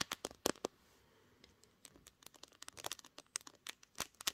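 Long green nails tap and scratch the top edge and glass back of a pink glass-backed smartphone held in both hands, the phone itself doing the recording. Sharp, bright clicks with almost no ring come in quick bursts, broken by a quieter stretch of soft scratching before the tapping picks up again.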